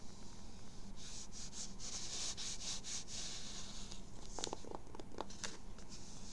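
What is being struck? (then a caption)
Embroidered fabric baseball cap. A dark grey World Series baseball cap with raised embroidery and a hollow crown is held in the hands while fingertips and nails rub and scratch its fabric and embroidery. Soft, bright rustling strokes come first, followed by sharper, quick scratches, all over a low steady background hum.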